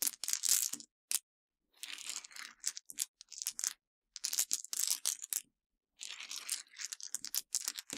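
Long dark-painted nails and fingertips dig into a small pile of broken white Mentos hard-candy pieces on a dark surface, crushing the small, solid pieces. Bright, dry crunching and snapping crackles come in dense bursts separated by short silences, with almost nothing in the low end and no lingering ring.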